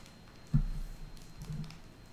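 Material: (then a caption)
Plastic. Long acrylic nails tap a small white plastic squeeze tube with a blue cap, filled with cream and held in the fingers. The taps are soft, dull and muffled, with almost all their energy low and no bright edge, and each dies away quickly.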